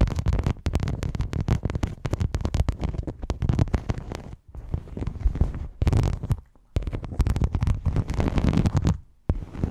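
Fingernails scratch and tap a silver rhinestone mesh sheet draped over a microphone. The result is a dense run of close, crackly scrapes and quick clicks heavy in low rumble, with brief pauses around 4.5, 6.5 and 9.2 seconds.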